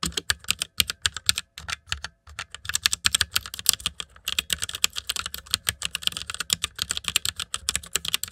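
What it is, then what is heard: Plastic mechanical keyboard. Fingertips type continuously on a white mechanical keyboard with plastic keycaps, producing a fast run of about fifty short, crisp, bright clicks with almost no low end. The clicks die away instantly. A brief lull comes near the two-second mark, and after about four seconds the typing becomes denser and brighter.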